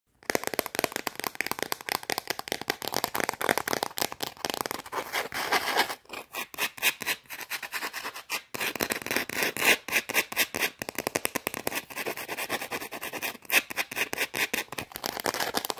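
A small, flat, round shortbread cookie, solid and dry, is held in the fingers and rapidly scratched and tapped with long orange acrylic nails. Dense, crisp, bright clicks and scratchy rasps run almost without pause, with a few brief gaps and almost no low end.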